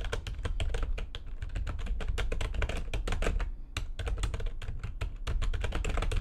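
Fast typing with long nails and fingertips on a full-size plastic computer keyboard with white backlighting and a hollow housing. The dense, rapid clatter of short, dry key clicks has a heavy low thump beneath each bright tick, easing briefly just before the four-second mark before resuming.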